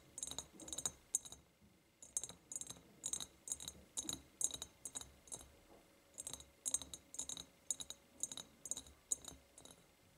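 Long nails tap and scratch the ribbed sides of an empty clear glass jar. Quiet, bright, high-pitched clicks come in quick bursts separated by short pauses. Each tap dies away almost at once, with a faint scratching texture between the taps.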